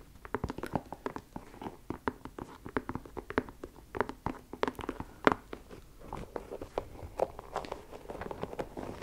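Long pink nails tap and scratch the leather upper near the laces of an empty white leather low-top sneaker with a rubber sole, held close to a fluffy microphone. The result is a steady run of quick, dry, clicky taps with very short decay, mixed with soft scratching in the low-mid range.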